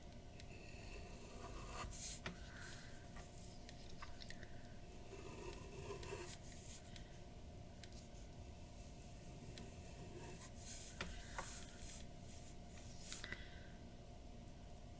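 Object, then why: Drawing paper sheet under a metal-nib pen. A metal-nib dip pen held in the fingers scratches short hatching strokes across a large white paper sheet bearing an ink portrait, lying flat on a wooden table. Quiet, bright, dry scratches come in brief bursts over a steady low background hum.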